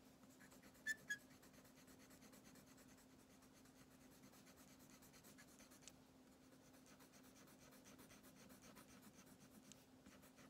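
A red Twistables plastic crayon, held in the fingertips, rubs back and forth across a thin printed paper coloring page lying flat on a wooden table, coloring in a bathtub picture. The result is a quiet, steady, scratchy rubbing with a rhythmic bright texture over a faint constant low hum. Two sharp louder clicks come near the start, and a small tick follows midway.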